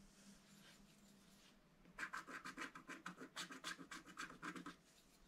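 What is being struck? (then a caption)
Coated scratch-art card scratched with a wooden stylus. A wooden stylus scratches the lower petals of a design on a black coated scratch-art card in a book. After about two seconds of faint hiss, about fifteen quick, dry, rasping strokes follow in an uneven rhythm, each a bright, scratchy burst centred around 1.6 kHz. The strokes stop abruptly, with no ring afterward, leaving only faint background hiss.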